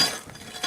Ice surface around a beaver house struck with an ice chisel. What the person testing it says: That hollow sound like I hit my head. That just means there's no ice.